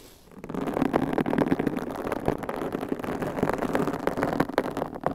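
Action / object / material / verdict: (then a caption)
scrape / foam microphone windscreen / foam / none. Long pink coffin-shaped acrylic nails scratch and tap on large white foam microphone covers, soft and hollow over the capsule, on both sides. After a quiet start, a dense, muffled rustling scrape sets in, full in the low-mids and thin on top, dotted with soft, quick-dying taps.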